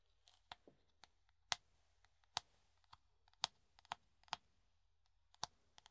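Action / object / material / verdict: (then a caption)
tap / plastic funnel / plastic / none. A hollow clear plastic funnel, held in the hand, is tapped and scratched with the fingertips and nails. Quiet, sharp, bright clicks and taps come at uneven intervals, each dying away almost at once, with faint scratchy rustling between them.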